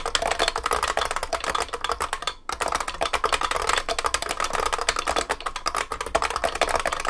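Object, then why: Beam spring keyboard with plastic keycaps and metal case. Both hands type continuously with their fingertips on a large vintage beige IBM 3278 beam spring keyboard with plastic keycaps and a metal case. A rapid, dense stream of sharp, bright clacks rings with a ping around 700 Hz and 1.2 kHz, and each keystroke decays almost instantly. A brief pause breaks the typing around 2.4 seconds before it resumes.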